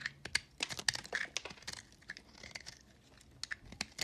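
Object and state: Recycled soap bar being shaved.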